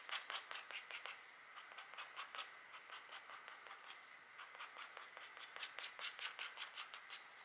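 A stylus in a green holder, held in a hand with long nails, scratches fine lines into a flat, thin scratch art board with a black coating over gold foil, bearing a gold-on-black deer drawing. The clip is a quiet series of short, dry, bright scratching strokes at an uneven pace, with no low-end and almost no ring after each stroke.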